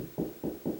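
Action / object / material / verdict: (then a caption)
knock / drywall ceiling over wood joist / drywall / solid. Three low, dull knocks on a drywall ceiling over a wood joist, each thud centered around 200–500 Hz with a short, quick decay. Continued knocking reaches the next joist, where the ceiling sounds solid again.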